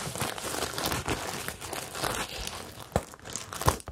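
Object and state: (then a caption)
Plastic sequin bag. Fingertips and long nails rub and scratch the plastic sequins on a medium, hollow rainbow bag covered in sequins on fabric, then hold the bag. A steady, dense crinkling and rustling scrape fills the clip, broken by a couple of sharper, louder clicks near the end.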